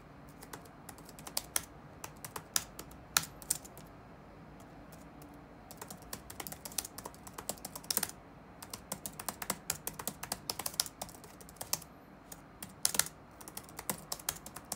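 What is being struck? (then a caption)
Plastic laptop keyboard. Fingertips of both hands type on the dark plastic chiclet keyboard of a laptop resting on a wooden desk. The result is a stream of quick, dry, bright key clicks with very short decay, coming in irregular bursts separated by brief pauses, over a faint low background hiss.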